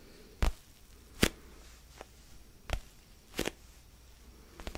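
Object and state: Foam stress ball.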